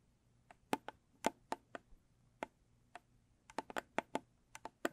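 Long stiletto nails tap and scratch the top of a closed, small square rigid cardboard gift box with a blue textured lid. There are 17 quiet, sharp, clicky taps at an uneven pace, with bright attacks that die away almost instantly. Some taps come in quick clusters, with near silence between them.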